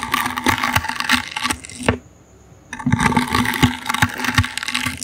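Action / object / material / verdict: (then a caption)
scrape / small woven wicker basket / wicker / none. The bristles of a toothbrush scratch across a small, hollow, brown woven wicker basket held in the hand. The result is a dense, crackly rasping with bright, dry ticks and a faint hollow resonance. It stops for under a second near the middle, then resumes just as busy.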